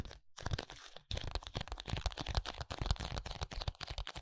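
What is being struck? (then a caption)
Small paperboard box. A small paperboard contact lens box is tapped and scratched on its face and edges with fingertips and nails. Dense, rapid, dry crinkly taps and scrapes come in a near-continuous stream with brief gaps, each click short with no ring, carrying a low thump under a bright papery texture.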